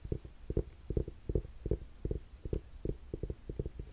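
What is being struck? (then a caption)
Suede ankle boot. Long nails scratch and tap the straps and upper of a black suede buckle ankle boot with a zip, held close. The sound is a quick series of soft, low, muffled taps in short clusters, with brief scratchy brushing between them.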